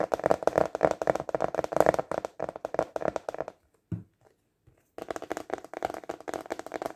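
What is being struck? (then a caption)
Translucent plastic container lid. A translucent plastic container lid, held upright and tilted, is fast tapped with fingertips and short nails, giving rapid, dry, hollow clicks centered around 600 Hz with almost no ring. The tapping runs for about three and a half seconds, pauses with a single tap near the four-second mark, then resumes at the same quick pace.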